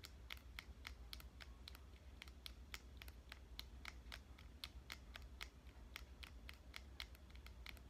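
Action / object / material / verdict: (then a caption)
tap / plastic compact digital camera / plastic / none. A fingernail taps and scratches along the side and buttons of a pink compact digital camera, making a quick, uneven series of short, dry, bright clicks with faint scratchy texture. Each click dies away almost instantly over a steady low background hum.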